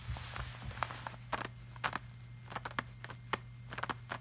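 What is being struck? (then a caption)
Plastic-laminated paper print. Fingertips of both hands tap and rub across the shiny surface of a large, flat, glossy art print made of plastic-laminated paper. A soft, bright rubbing hiss in the first second gives way to about 13 short, crisp taps. A steady low hum sits underneath throughout.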